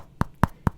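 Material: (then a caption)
Plastic. Three short, solid taps on the triangular plastic overlay on the heel of an adidas Adizero Boston 10 running shoe, held up close, each a dull, low knock that dies out almost instantly. The hard overlay sounds solid, giving the heel stability and a well-defined heel pocket.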